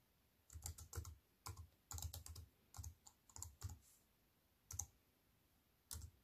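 Fingertips with long white nails type slowly on the plastic keys of a slim aluminium and plastic wireless keyboard. Soft clustered key taps, each a low thud with a bright clicky tick, come in irregular bursts separated by quiet pauses, and each stops short with almost no ring.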